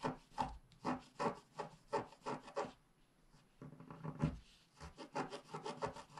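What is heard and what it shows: A wooden stylus scrapes a flat, wax-coated scratch art paper sheet, first working the tree trunk area at the left and then scratching near the unicorn's head. Quiet, dry rubbing strokes repeat in a loose rhythm, pause briefly near the middle, then resume as a denser run of short scratches.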